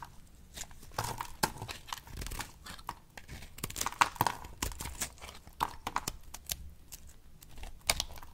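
A solid rectangular pink bar of dry soap, held in the palm, is shaved and cut by a long-nailed hand with a box-cutter blade. Crisp, crackling scrapes and sharp crunchy snaps come in quick, uneven bursts as curls and chips fall off.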